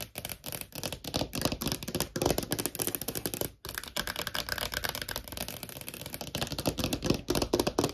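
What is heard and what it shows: Long nails tap fast on a small, thin, hollow clear plastic phone case with a heart print. The result is a dense stream of quick, bright, dry clicks with little ring, and the tapping pauses briefly partway through before continuing.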